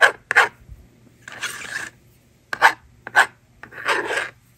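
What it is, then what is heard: Plastic magnetic drawing board being scratched and erased. A plastic stylus scratches numbers onto a hand-held plastic magnetic drawing board, with short rasping strokes that carry a squeaky tone around 1.6 kHz. Each pair of strokes is followed by a longer, bright, hissing rub as the screen is erased. The pattern of two strokes and an erase plays twice.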